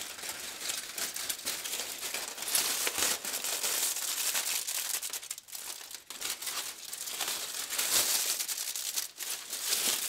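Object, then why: Aluminium foil sheet. A thin, wrinkled aluminum foil sheet is lifted, pressed and crumpled by black-gloved hands over a white table scattered with foil scraps. The result is a steady stream of bright, crackly crinkling, almost entirely in the high range with no low end, easing briefly into quieter stretches before building back up.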